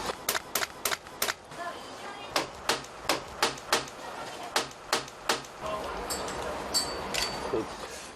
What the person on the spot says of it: 이 크랙에서는 텅텅 소리가 나기 때문에 이걸 보고 이제 누수가 되는구나를 찾는 거죠.